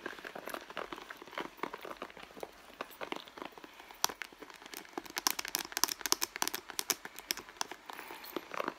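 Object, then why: Leather handbag panel. Long blue nails scratch and squeeze the end panel of a red leather handbag held in both hands. The result is a dense run of dry, crackling scrapes and soft creaks, bright and thin with almost no low end. The sharpest flicks come near the middle and later in the clip.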